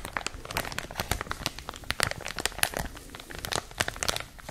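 A clear plastic packaging wrapper is crinkled between both hands with long nails. Dense, bright crackles and snaps come in quick irregular bursts with almost no ring-out. Some louder sharp crackles stand out above a steady rustle.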